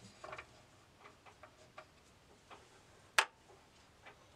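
Hands turn the knobs of a flat, box-like bamboo tilt maze, rolling a small steel ball inside so it clicks against the wooden walls. Light, dry ticks come at irregular intervals, and one much louder, sharp, bright knock lands just past the three-second mark before the soft clicking resumes.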